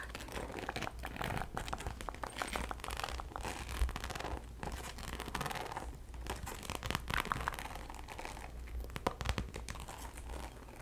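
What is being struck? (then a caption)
Faux leather handbag. Long acrylic nails scratch and tap the surface of a medium-size, hollow, black glossy croc-embossed faux leather handbag. The result is a continuous, dense stream of crinkly, scratchy rasping and quick light taps over a steady low hum.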